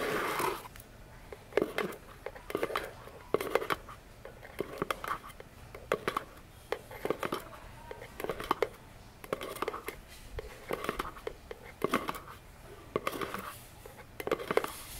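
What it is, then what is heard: Cardboard box tapped with fingernails. Long fingernails tap on the top and sides of a small, hollow orange cardboard box with a silver logo, resting on a table. Quick, dry, hollow taps come in irregular bursts with a light papery scratch and die away almost instantly, leaving a quiet background between clusters.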